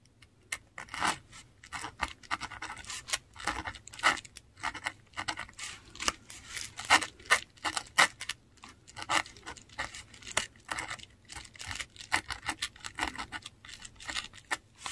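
A metal dip pen nib scratches Finnish words in ink across a flat, textured Korean paper sheet. Quick, dry, bright scratching strokes come in irregular bursts with short pauses between them. The sound stays crisp and brief, with almost no low end.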